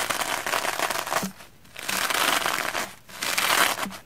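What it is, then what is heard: Soapy plastic foam sponge being brushed. A soapy red porous plastic foam sponge is brushed rapidly with a round black-bristle hair brush. The result is three bursts of dense, bright, crackling, wet scratching, each separated by a brief quieter pause.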